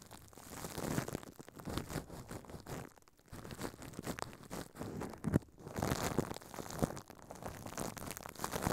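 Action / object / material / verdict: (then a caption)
scrape / thin plastic film over a microphone / plastic film / none. Thin clear plastic film wrapped around a microphone head on a stand is crinkled and rubbed by a hand inside a furry pink puppet. Dense crumpling, crackling and scratching fills the clip, with short quiet gaps near 3 and 5.5 seconds, in close, mostly low-toned bursts.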